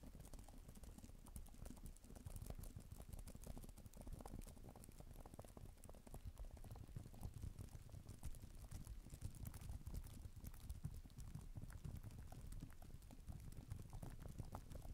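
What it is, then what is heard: Plastic tablet keyboard cover. Fingers with long nails type and click on the plastic keys of a black tablet type-cover keyboard, with an echo effect added. A steady, fast patter of soft, dull clicks and taps runs throughout, heavy in low thuddy tones with short, quickly fading reverberant tails.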